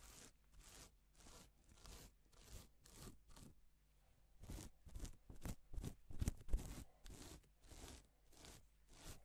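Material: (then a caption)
Plastic. A gloved hand strokes and rubs reversible plastic flip sequin fabric with its fingers. The result is a quick, uneven series of soft, bright rasping swishes that flip the sequins, with a faint low hum underneath throughout.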